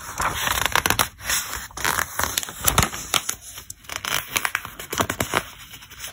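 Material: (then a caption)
Glossy paper. Fingertips slide over and turn the glossy pages of a thick paper catalog. The result is a steady stream of crisp, bright rustling and crinkling, broken by sharp paper snaps and soft swishes.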